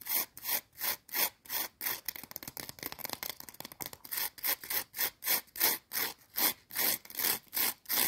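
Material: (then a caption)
Potato chip. Long teal acrylic nails scratch rapidly back and forth across two small, thin, brittle curved potato chips stacked and held in a hand. The result is steady, bright, dry rasping strokes that speed up into a denser flurry of short scrapes in the middle, then return to slower, even strokes.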